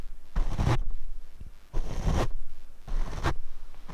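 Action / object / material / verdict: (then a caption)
scrape / foam microphone windscreen / foam / none. A paint brush is brushed across the black foam windscreen on a Rode microphone, producing soft, broadband scratchy swishes in repeated strokes. The strokes carry a deep, muffled low-frequency rumble with airy brushing texture above it.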